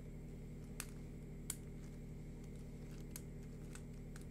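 A hand-sized, hollow yellow-green plastic lattice fidget worm is stretched out flat between both hands while fingertips and nails scratch its ridges. Short, bright, crisp scratching ticks come through softly over a steady low hum, with two slightly sharper scrapes standing out.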